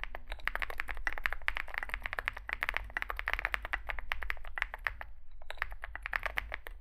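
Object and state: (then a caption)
Mechanical keyboard, metal case with plastic keycaps. Two hands type with their fingertips on a Zoom65 65% mechanical keyboard resting on a desk mat; it has a dark metal case, white and grey SA-profile plastic keycaps and lubed switches. The result is a rapid, steady stream of short, crisp clacks centered around 1.8 kHz, with a faint low hum underneath and a brief pause just after the five-second mark.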